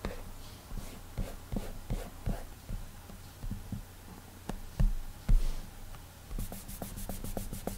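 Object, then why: Glass tablet touchscreen rubbed with a fingertip. A fingertip rubs coloring strokes across the glass touchscreen of an iPad, making soft, low, dull taps and brushing swishes at an irregular pace. Near the end, the strokes become quicker and lighter, with a faint bright hiss on each short pass.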